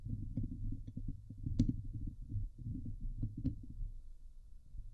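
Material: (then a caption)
Metal mesh. Long glitter nails scratch the hollow domed wire-mesh metal grille of a Blue Yeti microphone. The result is a dense, continuous low rumbling scrape centered around 105 Hz, with rapid fluttering strokes and a couple of sharper, brighter clicks cutting through.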